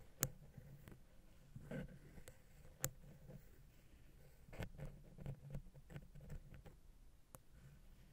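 A wooden ear pick lightly taps the side of a silver metal XY stereo microphone capsule on a Zoom H6 recorder. A few sharp, bright clicks stand out over a quiet, low background, with softer scratchy rustles between them that die away almost at once.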